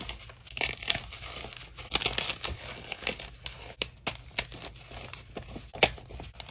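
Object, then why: Magnesium carbonate gym chalk block. Fingers with blue-painted nails squeeze and crush a solid block of plain white gym chalk (magnesium carbonate) by hand, over chunks and powder in a dark bowl. The chalk gives off a dry, bright crumbling and crinkling texture, broken by a string of short, sharp snaps as pieces break apart. It sounds close and quiet, with little low end and almost no ring after each crack.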